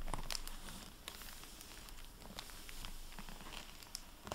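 A dry microfiber cloth, held in fingers with painted nails, rubs and wipes the plastic-covered dust jacket of a hardcover library book, Freedom, lying on a wooden table. Soft, continuous crinkling and rustling is broken by scattered bright ticks and crackles. The sound stays quiet and fairly even throughout, with brief sharper snaps near the end.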